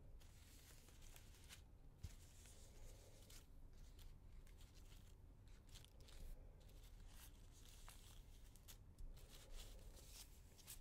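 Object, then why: Monstera leaf. Bare fingertips with nails press, rub and stroke the surface of a large, flat, thin monstera leaf, green with yellowing dried edges, lying on a white table. The result is quiet, close, continuous crinkling and rustling, with bright dry crackles and scratchy swishes over a soft low rumble.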